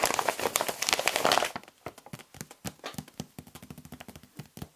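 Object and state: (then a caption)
Plastic foil pouch crinkled. A large, filled-looking red and black creatine powder bag made of laminated plastic foil is held in both hands and squeezed with the fingertips to crinkle it. For about a second and a half there is a dense, loud, bright crinkling, which then thins into quieter, separate sharp crackles and ticks.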